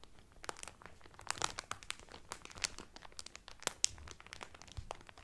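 Fingertips and nails rub the cellophane film wrapped around a cotton towel, making dense, bright crinkling with many quick, sharp crackles. Louder snaps stand out from a steady quiet rustle, each dying away almost at once.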